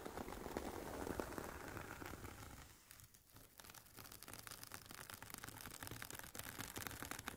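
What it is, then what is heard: Fabric-covered headphone case scratched with nails. Long painted nails scratch the woven nylon fabric cover on the top and sides of a hollow, oval, semi-rigid carry case for Sony WH-1000XM4 headphones. A dense, rasping scratch with a papery crinkle is loudest at first, dips briefly around the three-second mark, then carries on as quieter, crackly strokes.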